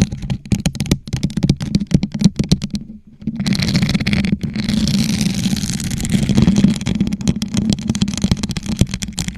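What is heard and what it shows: A hollow gold rhinestone-covered plastic tumbler, turned upside down over a microphone, is tapped and scratched with long nails. Quick, hollow taps with a low resonant thump fill the opening seconds, then stop briefly. A steady bright scratching rasp follows, and the clip ends with more rapid tapping.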